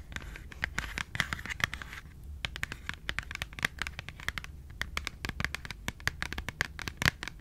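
Long pink nails scratch and tap a small closed Schogetten cardboard chocolate box. The result is a dense run of sharp, dry clicks mixed with scratchy rustling, bright and crisp with almost no ring after each tap.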